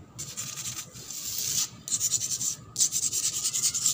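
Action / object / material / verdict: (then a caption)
scrape / painted concrete floor scratched by nails / concrete / none. Long black pointed nails scratch and rub fast across a flat, solid concrete floor with worn paint that is wet and gritty. The result is a bright, hissy scraping with quick rhythmic strokes, coming in three bursts separated by two short pauses.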